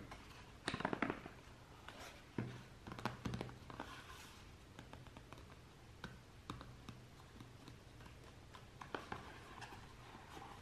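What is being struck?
Paperboard box.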